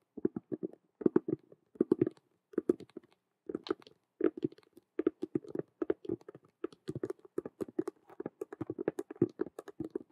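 Long nails of both hands rapidly tap and scratch the side of a hollow Rubik's cube–style handbag, which has a clear vinyl window, a patent faux-leather frame and a hanging chain. The result is quick bursts of short, dry, hollow clicks and scrapes with a mid-low body. They come in clusters separated by brief pauses, with faint bright edges on some strokes.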